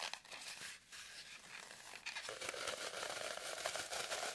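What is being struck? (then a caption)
Floral foam block. Long nails scratch the surface of a solid, deeply grooved green floral foam brick held in both hands, with crumbs on the table. The sound is a quiet, dry, crinkly scraping with bright hiss and little low end. It grows louder and denser after about two seconds, with a faint band near 650 Hz under the rasp.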